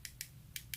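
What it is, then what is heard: Dry, hardened acrylic nail. Four light, sharp taps click against a cured acrylic nail to check by sound that it has dried and hardened before filing. Each tap is a brief, bright click that dies away almost at once over a faint low hum. The crisp, hard taps show the acrylic is dry.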